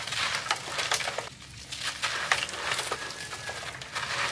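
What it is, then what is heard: Dry sand-cement brick crumbling. Bare fingertips rub and crumble the edge of a dry, porous, rough, brick-sized solid sand-cement block held over several others in a black plastic crate. Bright, gritty scratching and dry crackling crumbles are heard with short sharp ticks and a brief quieter pause. Dry fragments and dust fall away.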